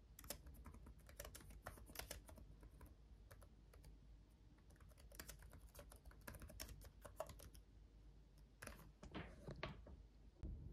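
Both hands type with their fingertips on a black laptop keyboard with backlit plastic keys, producing a steady run of quick, light, bright clicks over a low background rumble. The tapping thins briefly around the middle, picks up again, then ends with a few scattered key taps.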